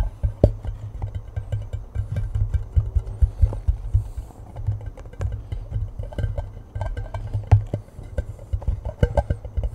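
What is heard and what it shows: Fingers tap and rub the side of a hollow cardboard Pringles chip can held upright above the mic. Quick, dense, hollow thumps sit low around 100 Hz with a soft rubbing texture between them. Each tap dies away almost at once.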